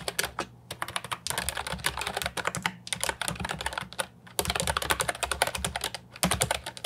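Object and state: Plastic keyboard with round keycaps being typed on.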